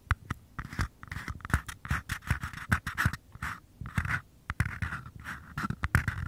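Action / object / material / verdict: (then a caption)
scrape / small paper cup / paper / none. Fingertips and short nails tap and scratch the bases of two identical small, empty, hollow paper cups held close to the microphone. It makes a quick, irregular run of dry, hollow taps with a low thump, mixed with papery scratching in the midrange. Each tap dies away almost at once.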